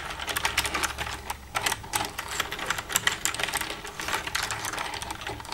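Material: Plastic.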